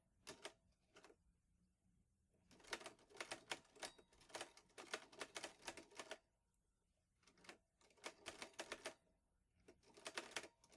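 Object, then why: Metal manual typewriter keys. Fingertips type on the keys of a green metal portable manual typewriter, an Olivetti Lettera 22. Quick runs of sharp, bright clacks come in several bursts separated by short pauses, each strike dying away almost at once with very little low end.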